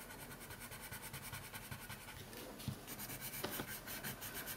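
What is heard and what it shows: A red colored pencil held in the fingers is rubbed back and forth across a thin printed coloring sheet lying on a wooden table. The result is a quiet, steady, rhythmic scratching with bright, papery strokes and a few slightly sharper accents in the second half.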